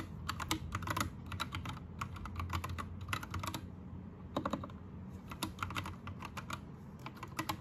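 Both hands type with their fingertips on an Anne Pro 2 60% mechanical keyboard with plastic keycaps, Gateron red switches and a rainbow backlight. Quick bursts of short, bright plastic clacks sit over a steady low hum, with a brief pause in the middle before the typing resumes.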